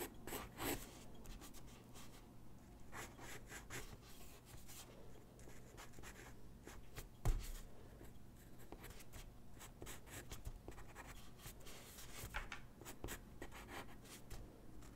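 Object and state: Paper sheet under pencil.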